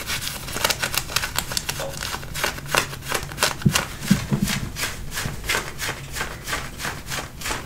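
Fingertips and nails scratch the waistband and front of light-blue button-fly denim jeans being worn. The result is a fast, uneven series of short, dry rasping strokes on the fabric over a faint low hum.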